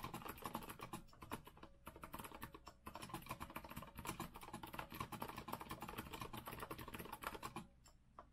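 Both hands type fast with their fingertips on a rose-gold retro Azio mechanical keyboard with a metal frame and round plastic keycaps. Crisp, dense clacking keystrokes run in rapid bursts, with brief dips near two and three seconds. The typing fades to a few quiet taps at the end.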